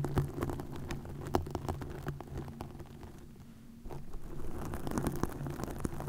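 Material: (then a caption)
Plastic. Long acrylic nails scratch and tap green plastic mesh netting stretched over a round, hollow microphone head. The result is a dense, irregular crackling patter of quick taps, heavy in the low end with a boomy thump, that briefly quiets in the middle before picking back up.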